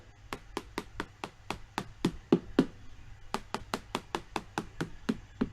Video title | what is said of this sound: Fixing Delaminated RV Walls- How To Video Fiberglass Camper Siding Repair | not too hard to find the perimeter of the delamination using a tapping method